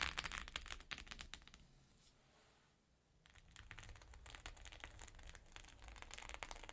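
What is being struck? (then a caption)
Sequin-covered fabric pouch. Long nails tap rapidly on the sequins of a flat rainbow sequin pouch, making dense, bright, crinkly clicks with a low rumble underneath. The tapping fades into a quiet pause of about a second and a half, then picks back up and continues irregularly to the end.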